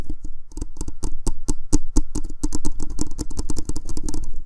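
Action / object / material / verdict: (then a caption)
tap / plastic spherical microphone shell / plastic / none. A black hollow plastic Blue Snowball USB microphone, a spherical shell about 12 cm across on a small stand, is held in both hands and tapped and scratched directly with fingertips and short nails around its shell. About 25 quick, dull, close taps land in a rapid, uneven patter. Each has a boomy low thump around 300 Hz, a brief bright click, and almost no ring.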